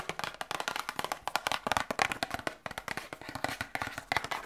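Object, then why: Small cardboard box. A small printed cardboard medicine box, held in both hands, is tapped quickly with long nails and fingertips. The result is a fast run of about thirty short, dry clicks and taps that stop almost instantly. The sound centres in the mid range with a bright edge and almost no low end.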